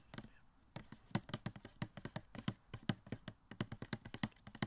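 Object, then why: Small cardboard box with plastic window. Fingertips tap quickly and unevenly on a small, hollow cardboard Funko Pop box with a plastic window and the figure inside. The soft, dry taps have a low, hollow thump and a faint bright click. Each dies away almost at once, with no ring.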